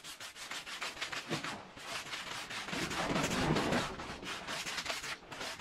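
A small oval red patterned fringed woven fabric rug lies wet and soapy on the floor and is scrubbed with a green plastic-bristle push broom. Repeated rough, bright scrubbing strokes rasp back and forth in an uneven rhythm, with a fuller, louder stretch in the middle.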